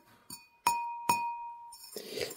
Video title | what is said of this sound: La terre rouge de la briquetterie | cette pièce est très fine vous voyez elle sonne un petit peu